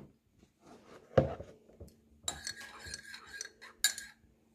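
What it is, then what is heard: Metal teaspoon stirring in a ceramic mug. A metal teaspoon stirs milky tea in a large ceramic mug with a blue leaf pattern, resting on a kitchen counter. Soft swirling scrapes are broken by sharp, bright clinks as the spoon strikes the inner wall of the mug, with a short high ringing tone.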